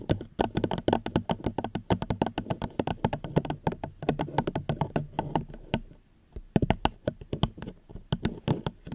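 A plastic cup is gently tapped close to a microphone in quick, irregular runs of short taps. Each tap is a soft, dull knock with a faint bright click that dies away almost instantly. The tapping stops briefly near the six-second mark, then resumes in sparser bursts.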